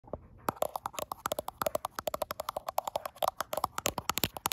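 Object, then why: Glass smartphone back tapped with fingernails. Long acrylic nails tap and scratch the flat frosted glass back of a gold iPhone Pro near its camera bump, while the phone is held in one hand in front of a mirror recording itself. After a brief quiet start, about 35 rapid, sharp clicks follow in a quick, uneven rhythm. Each is bright with a hollow midrange knock and dies almost instantly.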